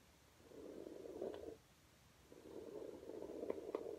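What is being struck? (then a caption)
Low-pile textile rug brushed with a plastic hairbrush. A hand with blue nails brushes a flat red low-pile fabric rug back and forth with a plastic hairbrush held bristles-down. Two stretches of soft, steady scratchy rubbing are heard, separated by a short quiet pause. The rubbing is centered in the low-mids around 400–500 Hz, with a few faint brighter ticks as the bristles catch the pile.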